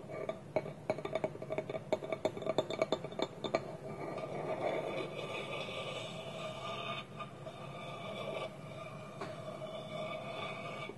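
Fingertips and nails tap on a small, hollow, polished wooden bowl resting empty on a table, with its wooden lid held tilted on top. A quick, uneven run of dry, short knocks with a hollow tone around 625 Hz fills the first few seconds. It then gives way to a steady, soft rubbing texture that continues to the end.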